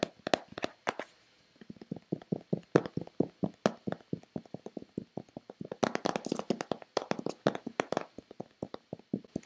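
Long painted fingernails tap a hollow, hand-sized white Nivea plastic lotion bottle in a quick, uneven series of about 40 dry, hollow clicks. The taps have a mid-pitched body and no ring, with a short pause early on and a faster, denser flurry in the later half.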